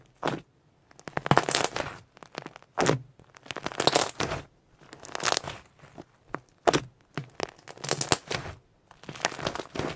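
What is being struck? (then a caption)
Purple pearl slime. A large, flattened purple pearl shimmer slime resting on a white surface has one fold pressed and squeezed over and over by both hands and fingertips. Each squeeze gives a burst of sharp, bright crackling and popping with quick wet clicks, separated by brief silences.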